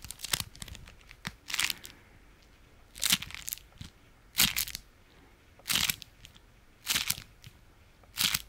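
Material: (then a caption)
Waxed fabric. A folded, striped beeswax-coated fabric food wrap is held in the hand and squeezed and scratched with the fingertips. It gives seven main bursts of bright, dry crinkling and crackling, each dying away almost at once, with smaller crisp ticks between them and little low end.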